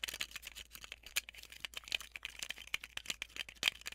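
Long nails tap and scratch the plastic shell and the white tape roll of a small, handheld, transparent plastic tape dispenser. The result is a quiet, rapid stream of dry, bright clicks and scratchy ticks with almost no low end. Each tap cuts off at once.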